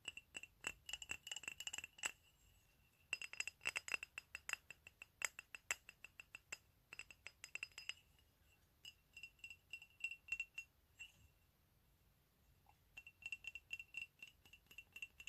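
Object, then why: Ceramic coffee mug. A medium, hollow, empty white ceramic mug with "COFFEE" lettering is held in both hands and tapped with fingernails. The quick, bright clicks with a faint high ring come in rapid bursts separated by short quiet pauses.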